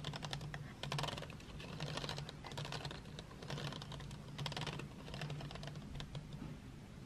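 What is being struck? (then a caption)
Painted wooden pencils in a metal tin. Long nails tap and flick painted wooden graphite pencils lying in an open metal tin tray. The result is a quick, irregular run of sharp, bright clicks and rattles that sound much like typing, over a steady low hum.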